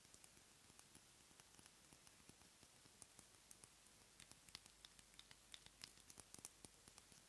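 Long manicured nails tap and scratch a small dark glass dropper bottle with a label and black dropper cap, apparently filled with liquid, held above a box of shredded paper. Very quiet, bright, quick ticks and clicks patter irregularly over a soft, hissy scratching, with the taps growing more frequent and sharper toward the end.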